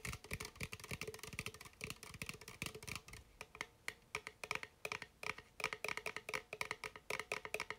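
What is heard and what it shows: A red bubly sparkling water aluminum can, held in hand, is tapped and scratched with fingertips and nails. Dozens of quick, dry clicks and taps come in an uneven stream, with bright scratchy noise between them and a faint metallic ring near 2.4 kHz. Each hit dies away almost at once.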